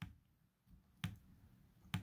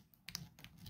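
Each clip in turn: First: shotgun hull with paper wad base, dull tap. Second: plastic wad base in a shotgun hull.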